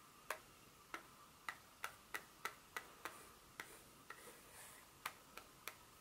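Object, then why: Dark chocolate bar. Long pointed nails tap and scratch the smooth back of a solid, flat dark chocolate bar held in the hand. Fourteen sharp, dry clicks fall at uneven intervals, each ending almost at once with a brief bright ring. Between about 4 and 5 seconds, a soft, high scratching hiss runs between the taps.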